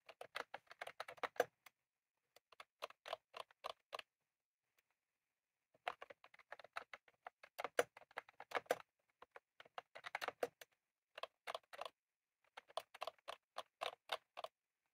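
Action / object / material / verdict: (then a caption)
tap / plastic mechanical keyboard with round keycaps / plastic / none. Both hands type rapidly on a full-size retro-style plastic mechanical keyboard with round cream plastic keycaps and a plastic case, set on a desk. The result is quick bursts of crisp, light clacks with a mid-range tone and bright edges, separated by short pauses.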